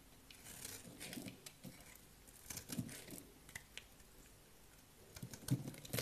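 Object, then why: Soap bar scraped with a knife blade. A utility knife blade scrapes and shaves the surface of a solid, palm-sized green bar of dry soap held in one hand, lifting thin curls and powder. Quiet, dry scraping runs through the clip with irregular crisp, crunchy bursts and bright scratchy edges, growing denser toward the end.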